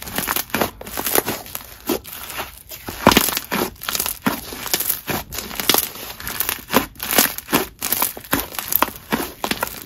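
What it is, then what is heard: Butter slime being stretched and pressed. Lavender butter slime is pulled, stretched into holey sheets and pressed with the fingers on a marble surface. The result is a steady run of soft, bright crackling, popping and crinkling bursts with quick, dry decays and little low end.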